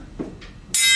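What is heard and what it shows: A plain steel rod is tapped once and rings clearly at its resonant frequency, a bright high tone near 3.2 kHz that starts abruptly near the end after faint low rustling. This is part of a physics demonstration of vibration modes.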